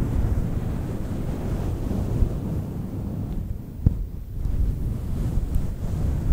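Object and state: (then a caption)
Faux fur microphone windscreen. A fluffy faux fur microphone windscreen is cupped and scratched with long nails, producing a steady, muffled, deep rustling rumble with almost no high end. A sharp handling thump stands out midway, the scratching briefly softens, then returns with occasional smaller bumps.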